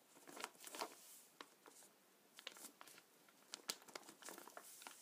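Fingertips press, rub and scratch the surface of a black plastic bag full of gelatin paintballs lying on a glass table. Quiet, bright crinkles and scratchy rustles come in irregular bursts, with short crisp clicks and no low end.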